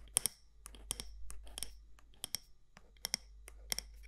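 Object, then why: Matte candle jar, glass or ceramic, with metal lid. Long nails tap the side walls of a medium matte black candle jar with a gold lid, possibly glass or ceramic, making about a dozen sharp, bright clicks that often come in quick pairs. Each tap dies almost instantly with no ring, over a faint low hum.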